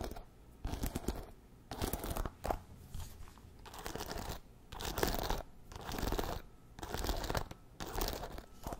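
A wooden paddle hairbrush is held bristles up while fingertips and nails scratch and flick its wooden pins. This makes crunchy, crackling bursts of scratching with a dull low body, separated by short quieter pauses, in an uneven rhythm.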